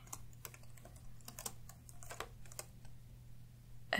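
Fingertips of both hands type in continuous taps on the plastic keys of an open laptop resting on a wooden table. Quick, sharp clicks come in an uneven rhythm over a steady low hum. A louder, fuller clatter comes right at the end.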